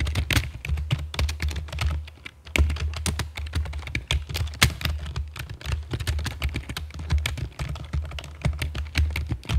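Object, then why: Plastic computer keyboard. A full-size black plastic computer keyboard with a hollow body and keycaps, resting on a stone table, is typed on with long fake nails and fingertips. Rapid, uneven taps each land as a short, bright click over a deep, hollow low thud, dying away almost instantly. A steady stream of chunky typing fills the clip, with a brief lull just before the middle.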